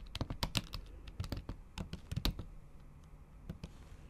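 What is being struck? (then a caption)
Plastic laptop keys under a silicone cover, tapped with fingernails. Typing on a MacBook Pro keyboard whose plastic keys sit under a thin pink patterned silicone cover, struck with the tips of long acrylic nails. Quick, dull clicks come in an uneven flurry with short pauses between bursts, each with a soft low thud and a brief bright tick that dies away almost at once.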